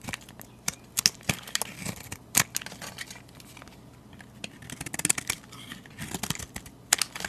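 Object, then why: Translucent soap bar shaved with a metal blade. A metal utility blade shaves curls off a solid translucent cream soap bar held in the hand. The cuts come as crisp, bright scraping and crackling strokes in short uneven bursts, with quiet pauses between them.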